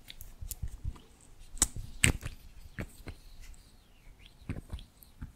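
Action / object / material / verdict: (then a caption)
tap / small hard plastic lip gloss tube / plastic / none. A small pink lip gloss bottle, hard plastic with a clear body and pink cap, is held close and tapped and scratched along its length with long nails. Sharp, dry clicks ring out over a soft, crackly scratching, with bright top edges and a dull low thump beneath each tap. A couple of taps stand out louder than the rest, and every one dies away almost at once.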